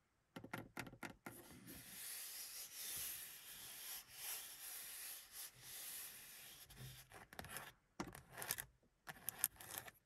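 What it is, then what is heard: Vinyl-covered car sun visor, scratched and rubbed. Fingertips and long pink nails rub and scratch across the lowered black vinyl padded sun visor with its vanity mirror in a Mercedes 200. A few quick scratches open into a long, steady, bright rubbing hiss, which then breaks into short, sharp scratching strokes separated by brief silences.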